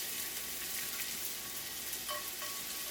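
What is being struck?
Nothing is struck.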